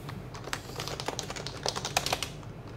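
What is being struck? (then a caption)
Plastic mechanical keyboard with plastic keycaps. Fingertips of both hands type continuously on a white, compact HHKB plastic mechanical keyboard with PBT keycaps and a hollow case, resting on a desk mat. A quick, uneven stream of bright, clacky key taps sits over a hollow, low body tone, each tap dying away almost at once.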